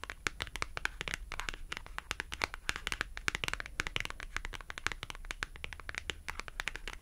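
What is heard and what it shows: A thin, solid, colorful printed cardboard shopping tag, held edge-on in one hand, is scratched and tapped along its edge with long acrylic nails. Rapid, dry clicks and papery scratches come in quick, irregular bursts, each snapping off instantly, with bright crinkly texture centered around 1.5 kHz over a faint low hum. The steady run of crisp, close-up taps continues for the whole seven seconds.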